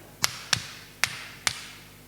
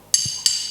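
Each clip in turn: First: Four sharp, bright hammer knocks on wood, each dying at once with no shattering; the block holds. Second: Two sharp, high metallic clinks that ring briefly: a solid iron piece, undamaged by the hammer.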